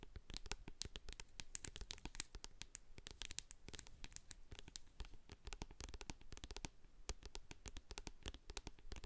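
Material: Plastic.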